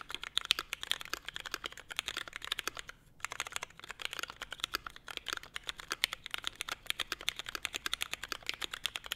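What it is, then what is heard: Mechanical keyboard with ABS keycaps. A Forever 65 mechanical keyboard, a small, hollow-cased 65% board with a navy case, Hyperglide MX Brown switches, a CF plate and grey/white ABS keycaps, is typed on continuously by the fingertips of both hands. It produces a rapid, steady stream of short, bright plastic clacks with almost no low end and a brief pause around three seconds.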